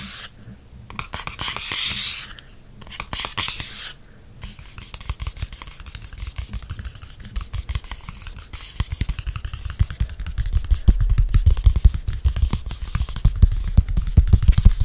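Fingertips scratch and tap the glossy back cover of a softcover paperback held in hand. Early on, bright scratching rasps come in bursts. These give way to a steady run of rapid, irregular, dull low taps that grow louder toward the end.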